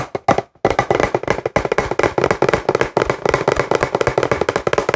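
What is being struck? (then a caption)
Plastic pump bottle. Fingertips and nails tap rapidly on a partly full, hollow, translucent plastic CeraVe cleanser pump bottle. Dense, irregular, short hollow knocks with a mid-range tone and a clicky edge follow one another with almost no ring.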